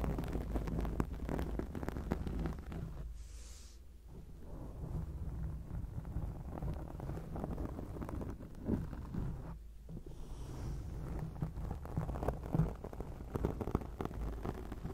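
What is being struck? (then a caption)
Foam microphone windscreen. Long acrylic nails scratch a round grey foam windscreen on a microphone, held close to it. This makes a dense, muffled rumbling crackle, mostly deep and boomy, with two brief quieter dips around 3–4 and 10 seconds.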